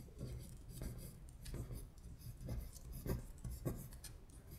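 A long acrylic nail traces and scratches the words on a flat paper worksheet listing the months in Korean. Quiet, irregular scratchy strokes rasp across the paper in soft bursts, with a faint bright hiss over a low, dull rumble.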